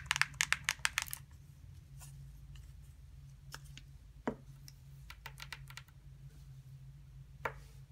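A small hollow plastic putty container, flipped to its gray plastic base with a label, is tapped and scratched with long nails. A quick run of about seven bright, sharp taps opens the clip, followed by scattered dry clicks and light scratching over a steady low hum. Each tap stops dead with no ring.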